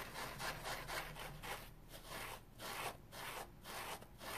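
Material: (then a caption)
Polyurethane foam. A dry, rectangular green polyurethane foam kitchen sponge with a red scouring layer underneath is scratched on its foam side with nails and fingertips. Soft, bright, rasping scratches repeat in an uneven rhythm of roughly two strokes per second, with brief quieter gaps between bursts of strokes.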